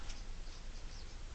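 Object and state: Nothing is struck.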